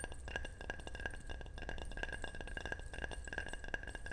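A ceramic object is tapped over and over in quick succession, giving bright, glassy chinks and clinks with a steady ringing tone. Each tap dies away almost at once over a low, constant rumble.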